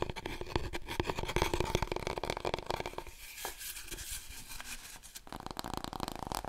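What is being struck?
Long cardboard roll core.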